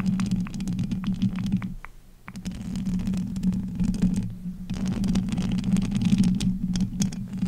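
Two hands with long acrylic nails grip, rub and tap the uncovered metal wire-mesh grille of a large pink USB condenser microphone with a hollow head. A dense, low, rumbling hum with a steady tone is dotted with scratchy crackles and taps. It dips briefly quieter near the two-second mark before the rubbing swells again.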